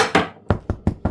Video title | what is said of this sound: Nie wieder Brot kaufen! 🥖 Familienbrot besser wie vom Bäcker mit Molke – knusprig, aromatisch #323 | chỉ khi nghe thấy tiếng rỗng mới biết bánh đã chín